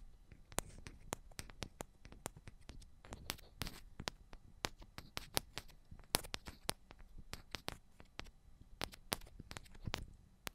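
Long pointed ombre nails tap the tops of two identical silver metal cylindrical microphones. The result is a steady run of quick, dry clicks with sharp, bright edges and almost no ring. The taps repeat many times over a soft, low background.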